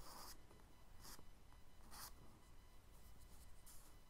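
A charcoal stick held in the fingertips is rubbed and stroked across a brown kraft paper page of a spiral-bound sketchbook lying flat on a dark table. Soft, dry scratching strokes come in brief bright hissy bursts over a low, steady rumble, staying quiet throughout.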